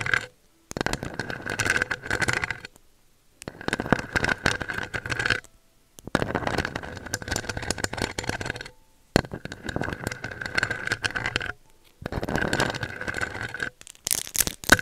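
Long decorated acrylic nails scratch and tap the round metal mesh grille of a pink USB microphone held in place. The result is dense, crackly scraping and pattering with a steady ringing tone near 1.5 kHz. It comes in several bursts separated by brief silences.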